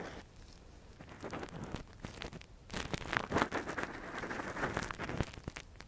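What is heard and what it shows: A gloved hand scratches inside the hollow canal of a soft, translucent silicone ear model fitted as a binaural microphone cover, using a thin metal earpick. The result is close, dry scratching and crackling in rapid, irregular strokes that swell louder in the middle of the clip.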